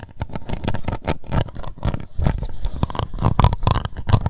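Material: Plastic.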